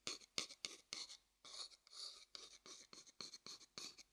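A medium, hollow, light wooden bowl held upside down has its base and outside tapped and scratched with a thin wooden stick. It makes a quiet, quick series of short, dry taps and brief scratchy strokes. The sound is bright and high-pitched, with almost no low end, and each one dies away almost at once.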